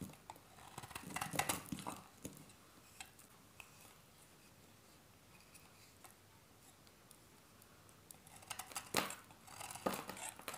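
A solid beige bar of dry soap, hand-sized and held in the hand, is carved with a metal utility-knife blade, scraping off crumbly flakes. Bursts of dry, crisp scraping and crackling come near the start and again near the end, with a quiet stretch of faint ticks between them.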